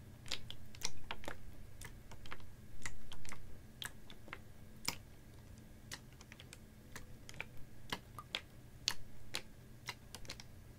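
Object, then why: Plastic water bottle partly filled with water. Fingernails tap a clear, ribbed PET water bottle that is capped, about half full of water, and held horizontally. The taps come as an irregular series of short, sharp, bright clicks that die away at once, with a few louder clusters. A steady low hum runs underneath throughout.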